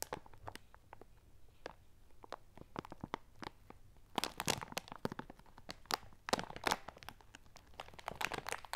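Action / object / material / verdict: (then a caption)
shake / plastic bag of dry lentils / plastic, lentils / none. A large clear plastic bag with a red top, full of dry lentils, is held upright on a pink pad and squeezed and crinkled with fingertips and long nails. Dense, sharp crinkling crunches and rustles come in quick bursts, growing louder and busier in the second half.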